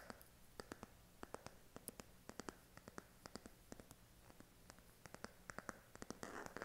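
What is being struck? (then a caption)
Smartphone in silicone case. Fingernails tap and scratch the back of a smartphone in a pink silicone case held upright. The result is a quick, irregular series of sharp, dry clicks with almost no ring, over a faint steady low hum. It ends with a brief burst of bright, hissy scratching.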